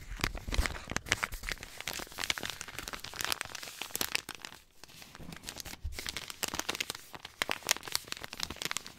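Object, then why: Paper sterile compress pouch. A small, flat, light white paper sterile compress pouch with blue print is crinkled and rubbed with the fingertips. It gives a dense stream of bright, crisp crackles and papery rustles, with a brief quieter stretch around the middle before the crinkling picks up again.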